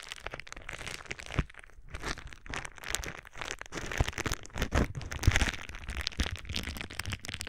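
A sheet of clear plastic bubble wrap is held against the microphone and crinkled and squeezed with fingertips. It makes dense, continuous crinkling and crackling with a heavy close-up low rumble, broken by sharper louder cracks.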